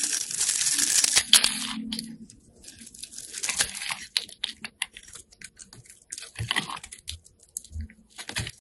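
A utility knife blade scores and scrapes a solid, partly carved orange-red bar of soap held in the hand, shaving its surface into crumbly flakes. A long, bright scraping rasp opens the clip, followed by a string of shorter, irregular scratches and crumbly crunches.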